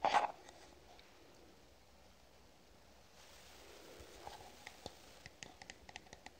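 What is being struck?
Plastic cream jar.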